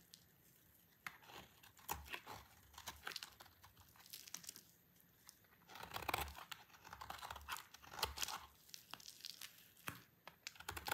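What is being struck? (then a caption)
Bar of soap cut with a knife blade. A solid, dry orange soap bar held in the hand is shaved into curls with a utility knife blade. The clip is a quiet series of crisp, dry scraping and crunching strokes with a bright, papery tearing texture. Short strokes alternate with longer rasping cuts, and each sound stops cleanly with no ring.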